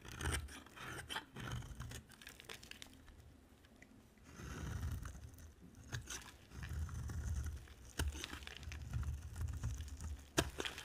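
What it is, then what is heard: Dry soap bar. A utility knife blade scrapes and carves a dry, solid white soap bar with an orange layer, held in hand. Dry, crunchy scraping and tearing sounds come in uneven bursts with a heavy low rumble, with sharp bright clicks near eight and ten seconds.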